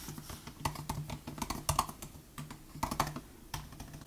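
Fingertips of both hands type steadily on the plastic butterfly keys of a 2018 MacBook Air laptop keyboard. The result is a quick run of short, dry clicks with bright, sharp attacks over a faint low hum, and the keystrokes come in uneven bursts with brief pauses between them.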